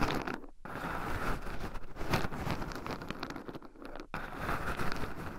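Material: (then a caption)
Pine nuts. Two wooden chopsticks stir and poke through a small wooden bowl heaped with raw shelled pine nuts, with two black microphones buried in the pile so the nuts rub against them. The sound is a continuous close, dense crunching and scraping rattle of nuts shifting against each other, weighted low with brief quieter gaps.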